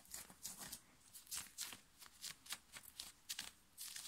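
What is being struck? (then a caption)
Knit cotton fabric shirt. Fingernails scratch fast over the chest and shoulder of a worn black knit fabric t-shirt. Quiet, dry, bright scratchy rasps come in quick, irregular bursts. Each dies away almost at once, with soft fabric hiss between them.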